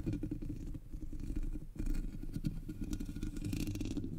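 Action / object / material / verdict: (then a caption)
scrape / metal mesh microphone grille / metal mesh / none. Long nails scratch across the black hollow metal mesh grille of a Blue Yeti microphone, with one hand resting on top. The result is a dense, continuous rasping scrape, heavy in low rumble with faint bright grit, briefly dipping near the middle before building back up.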